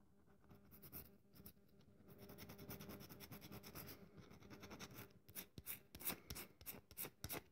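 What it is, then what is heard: Dry bar of soap. A solid, dry bar of soap held in the hands is scratched with long nails, giving a quiet, steady rasping and scraping. It is then gripped in both hands, and the sound turns into louder, sharper crackles with bright, crisp edges.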